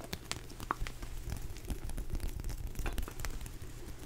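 A large purple rubber hot water bottle, hollow and apparently empty, is tapped and scratched with fingertips and nails. Quick, irregular taps land as soft, dull, low thumps, mixed with brief crackly scratches that give a faint bright edge. The steady patter continues throughout without any ringing.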